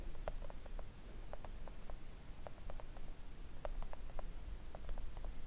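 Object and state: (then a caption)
Silicone nail art mat tapped with nails. Long acrylic nails of both hands tap slowly and gently on a flat, thin, solid pink silicone nail art mat resting on a table. The result is a quiet series of short, soft clicky taps with little ring, some in quick pairs, over a steady low rumble.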